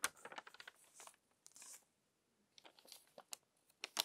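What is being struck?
Glossy paper magazine pages.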